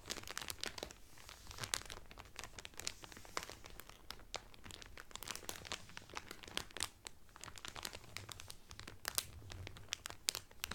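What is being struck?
Cellophane-wrapped cotton towel.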